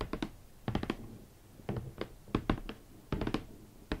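Long nails tap on the lid top and front of a large, hollow, red rigid cardboard Valentino shoe box holding hot pink leather Valentino Club Platform boots. About 15 short, dull, hollow taps come in small clusters with pauses between them. Each tap is low and muted and dies away almost at once.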